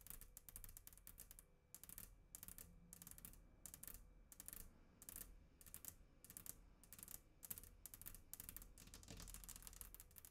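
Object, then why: Glass tabletop. Long almond-shaped acrylic nails tap and click on a flat, solid sheet of glass tabletop on both sides of a microphone, without touching the mic. The result is a rapid, irregular stream of short, bright clicks in bursts, each dying away almost instantly, over a low, steady rumble.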